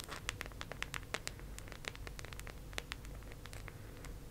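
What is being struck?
Round plastic disc case.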